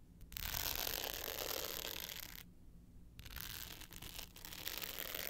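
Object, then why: Hard-case clutch with glitter face and metal frame. Long pointed nails scratch the dark blue glitter face of a small, rectangular, hollow hard-case clutch with a gold metal frame, held tilted up. The result is a dense, bright, raspy scratching that carries on steadily, with one brief quiet pause partway through before the scratching resumes.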